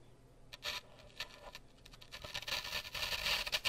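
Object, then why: Floral foam block with wooden toothpicks. A solid grey floral foam block with rows of wooden toothpicks pushed into it is held beside the mic while fingertips strum and pluck the toothpicks. Quick, dry, bright ticking and brushing clicks with almost no ring start sparse and grow denser and louder toward the end.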